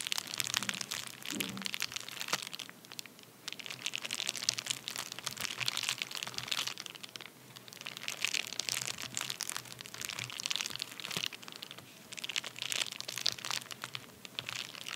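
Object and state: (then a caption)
Paper bubble mailer. A flat, empty padded paper envelope (bubble mailer) lying on a towel is tapped and scratched across its surface by both hands with fingertips and short nails. Dense, bright crinkling and crunchy scratching comes in continuous waves, with quick tapping clicks scattered throughout.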